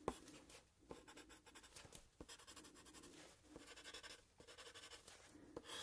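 A graphite pencil scratches and strokes across a sheet of paper clipped to a grey plastic clipboard held at an angle while drawing. Quiet, papery scratching comes in bursts of quick strokes with a bright, hissy texture. Sharper ticks mark where the pencil lands or lifts, with brief pauses between runs.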